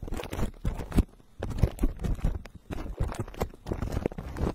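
Fingertips of both hands tap and rub the hollow metal mesh dome grille of a black microphone wrapped in clear plastic cling film. The result is bursts of dense, crinkly crunching and scratchy rubbing with a heavy low thump, broken by short near-silent pauses.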